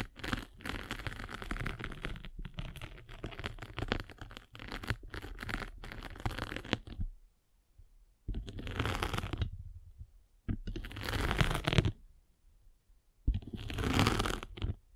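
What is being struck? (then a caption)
Foam sanding sponge with gritty surface. A metal-spiked derma roller is rolled back and forth over a rectangular sanding sponge with a gray grit surface and blue foam. It makes a gritty, scratchy rasp with a heavy low rumble, fluttering almost continuously for about seven seconds. Then three separate, brighter strokes follow, with short silences between them.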